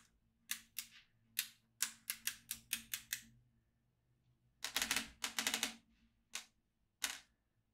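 A yellow magnetic pen is moved over the holes of a black plastic magnetic drawing tablet filled with steel beads. The beads snap into place in quick, bright, dry clicks with almost no ring. The clicks come in short bursts separated by brief pauses, and the middle burst is dense and overlapping.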